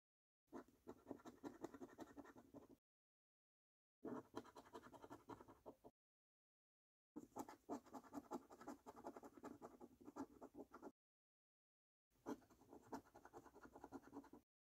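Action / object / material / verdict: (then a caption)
scrape / paper scratch card with latex coating / paper, latex / none. A coin held in the fingers scratches the latex coating off a thin, flat paper £1 Million Snack Stack National Lottery scratchcard lying on a table. Four quiet bursts of rapid, rasping scrapes are separated by short silences, with a gritty midrange body and a bright hiss. The coating is removed.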